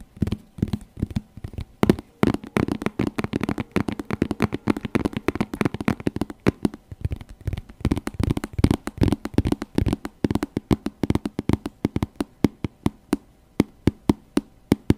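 A small, glossy burgundy patent faux leather makeup bag, hollow with contents not visible, is held in both hands and tapped with long nails and fingertips. Rapid, irregular tapping produces short, dull, hollow thuds with crisp nail clicks that die away almost instantly and continue steadily throughout.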